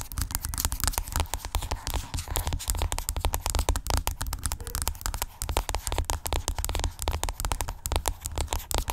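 Long acrylic nails scratch and tap rapidly across the surface of a hollow white plastic skincare tube lying flat. The result is a dense, continuous run of short, dry clicks and scrapes over a deep, hollow low thump, with each tap dying away almost instantly.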